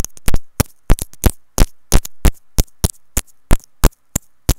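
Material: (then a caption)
Plastic. A small white plastic inline mic remote with a hollow housing, on a looped earphone cable, is tapped and scratched with long nails and fingertips. About 19 sharp, close-up taps land in an uneven rhythm of roughly three per second, each a quick bright click over a deep thump that dies away almost at once. Faint scratchy rustles fill the gaps between them.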